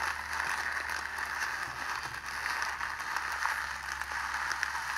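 A clear cellophane sheet is balled up and squeezed tightly between both hands, crackling. The result is a dense, continuous crinkling concentrated in the upper mids with sparse brighter snaps, at a steady moderate level over a faint low hum.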